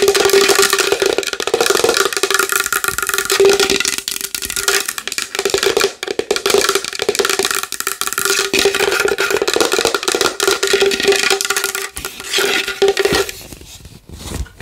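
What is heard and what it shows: Long nails tap fast and hard on a large wooden bowl, making a dense stream of bright, clicky hits over a steady hollow ring near 400 Hz. The tapping keeps up almost without pause, then drops off near the end.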